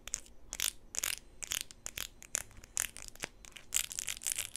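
A blue plastic flip-flop with a studded strap, lying on a table, is scratched and tapped on its sole with long pink nails. The sound is a quick run of dry, bright clicks and scratchy rasps, clustered in short bursts with almost no ring or low end.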